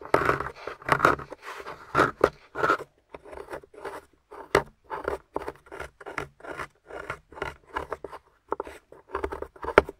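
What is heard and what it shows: A small metal spoon tool scrapes and crumbles a solid, grey, crumbly plaster dig-kit block that has been partly excavated around a plastic skeleton. The result is a steady run of short, dry, gritty scrapes with quick crumbling bursts, each one dying away almost at once with no ring.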